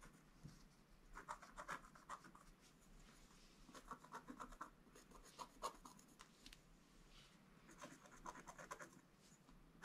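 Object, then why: Black-coated scratch art paper scratched with a wooden stylus. A wooden stylus scratches quickly across a flat, black-coated scratch art paper board page. Quiet bursts of short, dry scraping strokes come in clusters, centered around 1 kHz with bright, hissy edges. Each stroke stops almost instantly, with low room noise between bursts.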